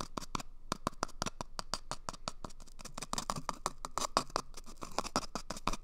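Fingernails scratch an empty, hollow cardboard toilet paper tube held at the microphone's ear as it moves from the right ear to the left. The result is a rapid series of short, dry scratches with a hollow, boxy tone around 1 kHz and bright, crisp edges. Each scratch stops almost at once, with no ring.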